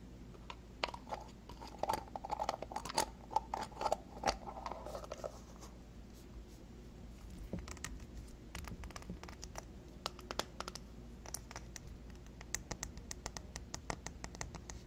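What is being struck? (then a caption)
Small glass cosmetic jar with lid. A small, full glass moisturizer jar with a paper label and a rose-gold lid is held and tapped and scratched with long fingernails. Quick, dry clicks and crisp scratches sound over a quiet background, with a faint ringing tone near 870 Hz during the first few seconds. The taps then continue as sparse, bright ticks.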